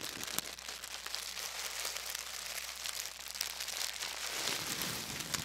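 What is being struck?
Thin tissue paper.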